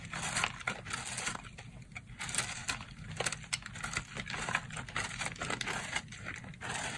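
A box-cutter blade cuts and scrapes a dry, porous, crumbly purple soap block, making a steady run of bright, crisp crackling and scratchy scraping with short, sharp snaps. Powdery crumbs fall away as the blade works through the soap.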